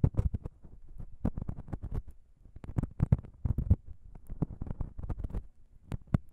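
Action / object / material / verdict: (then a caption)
tap / metal microphone capsules tapped with fingernails / metal / none. Long pink nails on both hands tap and scratch on top of the small, hollow chrome XY microphone capsules of a Zoom H6 recorder. A rapid, uneven stream of short, dull, low thumps comes through, each dying away almost at once, with faint scratchy texture between them.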